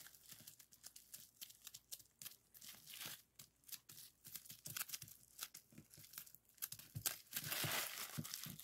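Fingertips press and pop the air-filled bubbles of a clear plastic bubble wrap sheet lying flat on a table. Quick, irregular, bright snapping pops mix with crisp plastic crinkling at a soft level, growing denser and louder near the end.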